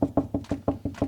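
Seven quick, evenly spaced knocks on drywall over a wooden stud, made to find where the stud is. Each knock is a short, dull thud centred around 280 Hz, with almost no ring and nothing bright above 2 kHz. The solid, low sound shows the stud is right there.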